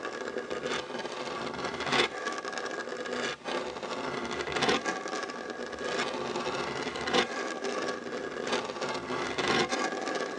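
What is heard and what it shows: Short nails and fingertips scratch a solid, dark wooden tabletop beside a fabric heart coaster. The result is a steady, dry, rasping scrape with bright, airy texture and little low end, punctuated by a few louder, sharper strokes.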